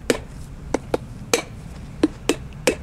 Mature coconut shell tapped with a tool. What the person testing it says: you hear it crack and then you hear it just totally opens up